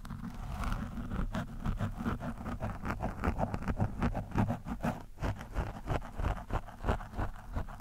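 A screwdriver tip scratches back and forth across an orange foam windscreen on a microphone. It makes a fast, uneven series of rough, muffled scraping strokes, about two to three per second, heavy in low rumble with little high end.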